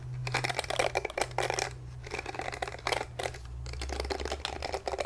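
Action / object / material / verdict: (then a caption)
scrape / plastic detangling hairbrush / plastic / none. Fingertips strum and scratch across the short flexible plastic bristles of a small pink glittery plastic detangling brush, held in both hands in front of a wig. Rapid bursts of crisp, bright, ticking clicks rise and fall in waves. A steady low hum runs underneath.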